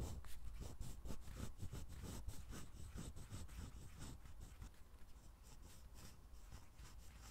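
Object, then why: Steel-nib fountain pen on a paper notepad. A steel-nib fountain pen held in the hand writes continuous cursive on an Oxford lined paper pad lying flat on a table. The nib gives quiet, rapid, uneven scratching and rubbing strokes across the paper surface, with faint bright scratch transients and a soft low undertone, fading slightly toward the end.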